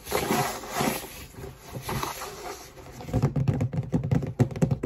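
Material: Cardboard.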